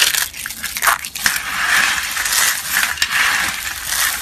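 A pile of pale yellow-white, solid, brittle dry soap flakes on a mesh mat is gathered and crushed with both hands and fingertips. It makes a dense, continuous, dry crackling crunch, bright and hissy and centered in the upper mids with no low end. The crunching swells and dips throughout without pausing.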